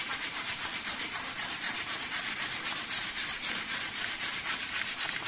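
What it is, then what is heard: Leather vest being scratched. Fingertips and nails of both hands rub and scratch the front of a dark grey-green leather vest, near the zipper, where thin, flexible leather panels cross the chest over a dark wool sweater. The result is a steady, regular scratching of almost four strokes per second, bright and hissy with nearly nothing in the low range.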